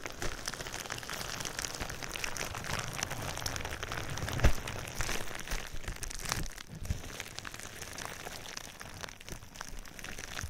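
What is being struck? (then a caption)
Plastic bubble wrap. Clear plastic bubble wrap laid over the microphone is squeezed, rubbed and scratched with fingers. It makes a steady, dense crinkling and crackling with a low rumble underneath and bright, sharp ticks on top. A louder crunch stands out near the middle before the rustling settles back to a softer, even texture.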